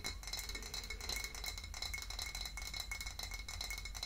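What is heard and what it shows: A full, dark glass wine bottle is tapped and scratched with long nails on its label, neck and glass. The result is a steady run of quick, bright clicks and scrapes with a faint glassy ring around 2 kHz over a low background hum.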